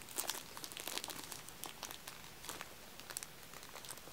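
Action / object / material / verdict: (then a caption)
scrape / row of aluminium-cup tealights in plastic film / plastic film / none. Fingertips press, tap and scratch along the top of the clear plastic film wrapping a row of small, solid wax-filled aluminium-cup tealights, stacked two layers high. The result is a quiet, irregular stream of bright, crisp crinkles and soft ticks with very little low end.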